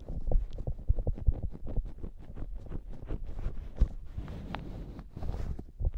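Long nails scratch and then squeeze the top of a soft polyurethane foam squishy hamburger toy, compressing the foam. A quick run of soft, dull, low scratching taps and muffled thuds follows, each dying away at once with no ring.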